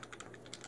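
Two longer 15-round metal pistol magazines that came with the gun are tapped and rattle like maracas, giving six quick, bright clicking rattles. This rattling makes them very noisy for concealed carry.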